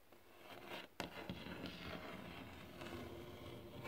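Fingertips tap and scratch across glossy varnished wooden boards. Soft, dry scraping and rustling run throughout, broken by sharp little taps that decay quickly. The sound is quiet and close, with a brightish, papery texture.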